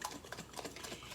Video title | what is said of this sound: Professor M’s Art and Science Lab - Kitchen Chemistry; making butter | that sloshing sound is really starting to go away and it has more of like lumpy lumpy lumpy sound